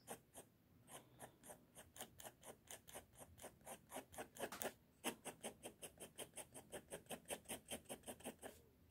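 A pink mechanical pencil scratches 33 short, repeated strokes across a flat sheet of drawing paper. Each stroke is a brief, dry, bright scratch with almost no ring, heard at a quiet level. The strokes come in a steady rhythm, bunch up and grow louder just before the five-second mark, then continue evenly after a short pause.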